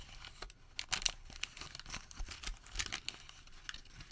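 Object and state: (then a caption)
Thermal paper receipt. Fingers open a crumpled ball of Home Depot thermal paper receipt and crinkle it flat. Dense, bright crackling and sharp crinkling snaps come in quick, uneven bursts over a quiet background.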